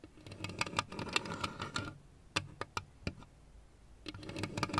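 A lit plastic Pac-Man LED lamp, with hollow plastic ghost figures on one base, is tapped and scratched with long red nails. Quick bursts of bright, clicky taps and scratching come in clusters, with a few sharp isolated taps in a quieter stretch in the middle.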